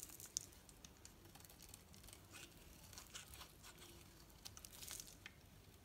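A knife blade carves thin strips from a solid green soap bar held in the hand, producing quiet, dry scraping and crisp crackling. Short, bright ticks and snaps stand out over a steady low rustle.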